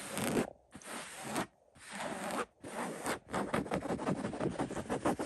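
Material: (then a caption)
Cotton fabric. Fingertips and short nails scratch and rub the woven cotton surface of a soft fabric-covered throw pillow with a pink and cream floral print. A few longer, broadband scratching strokes separated by brief pauses give way to quicker, rapid scratching that continues to the end.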